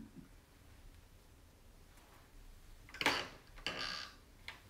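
A round, shallow, white-painted distressed wooden tray with a carved lattice centre sits empty on a wooden table and is wiped and rubbed with a cloth held in the fingers. After a quiet stretch, short bright, airy swishing bursts of cloth against the painted wood rise and fade, followed by a softer final brush.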